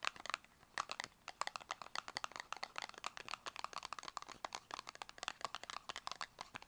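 Long acrylic nails tap rapidly on a small, closed, purple square cardboard cosmetic box, producing 37 quick, dry, crisp clicks centered around 1.2 kHz with bright upper edges. Each tap dies away almost instantly, with no low thump and no ring.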